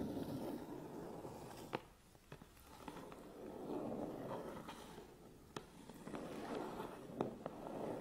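Fingertips and nails rub and tap the front and sides of a medium hollow Canon cardboard camera box held upright. A soft, steady scratching and rubbing drones in the low-mid range, swelling and fading, with a few sharp, dry taps cracking through and dying away almost instantly.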